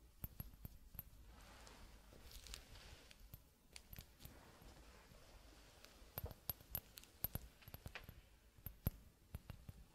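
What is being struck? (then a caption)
Glass hourglass. Fingertips in a fingerless glove tap repeatedly on the bulb of a clear, hollow glass hourglass whose top bulb is mostly empty. The result is quiet, short, sharp ticks that die away almost instantly, scattered irregularly over a low background rumble, with the densest bursts near the start and late in the clip.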